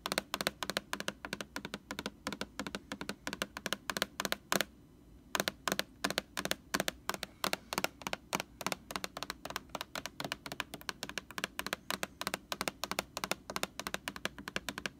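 Long nails tap quickly on the label of a large white plastic Lysol laundry sanitizer jug, heard close up. The taps are dry, bright clicks with almost no ring and a low hollow body around 190 Hz. They come in a steady rapid stream, with a brief pause near the five-second mark.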